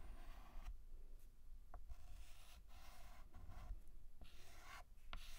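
White chalk scratches across a black chalkboard in short, repeated strokes as it fills in the letter A. Each stroke gives a dry, raspy burst of scraping with a bright edge, over a steady low rumble. The strokes run one into the next with brief gaps between them.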